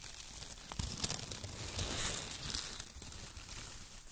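Fingertips rub and crumple strips of shredded brown kraft paper, and hands squeeze small bunches of it. A dense, dry crinkling and tearing rustle sits mostly in the high, bright range, swelling in the middle of the clip before easing off.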